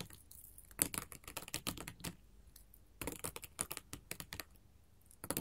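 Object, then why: Glass mosaic tile sheet tapped with metal claws. Long gold metal filigree finger claws tap rapidly on a flat sheet of colored glass mosaic tiles. The sharp, bright clicks come in quick bursts, with a quieter stretch in the middle. Each tap dies away almost instantly.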